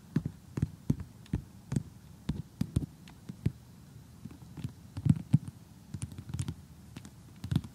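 Long glittery fingernails tap across an assembled cardboard jigsaw puzzle showing giraffes and zebras, lying flat on a surface. It makes an irregular run of short, dull, low taps with faint bright clicky edges, each dying away almost instantly over a quiet background.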